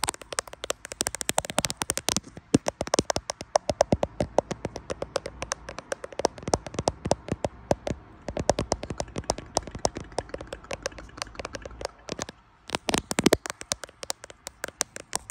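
Fingertips tap rapidly on the glass back of a grey iPhone Pro-style smartphone with a metal frame, held in both hands in front of a mirror, while the phone itself likely records. Quick, dry, bright clicks come in dense bursts with brief pauses between them, each tap dying away almost instantly.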